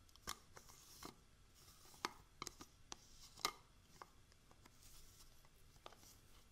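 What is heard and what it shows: Long manicured nails tap and scratch the lid and sides of a small round yellow plastic jar of eye patches with a screw lid, probably full. Eleven quiet, bright clicks with almost no ring come at an irregular pace, separated by soft scratching.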